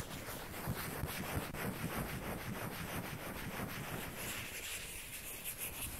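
Long painted fingernails scratch and rub a small hollow white plastic ping pong ball, with a second identical ball held in hand later. Close, continuous scratchy rubbing comes in quick, uneven strokes over a low rumbling, breathy background, turning brighter and hissier toward the end.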